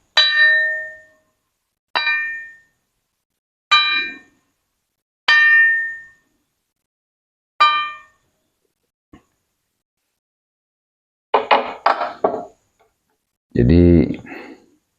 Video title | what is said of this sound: Saat Sang Raja Menunjukkan Bagian Yang Tersembunyj Pada Penghujung Tahun 2022 | kalau disentil, pusaka ini bunyinya juga menunjukkan bahwa pusaka ini cukup matang